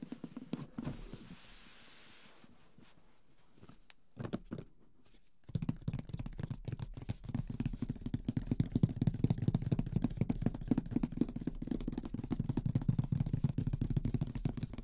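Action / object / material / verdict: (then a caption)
tap / cardboard game box / cardboard / none. Fingertips tap and drum on the top of the lid of a large, deep, printed cardboard Mysterium board game box, closed and holding the game. After a few soft, sparse touches and a quiet pause, dense, rapid, irregular drumming sets in from about five seconds. It produces dull, hollow, low thuds with almost no bright content and no ring.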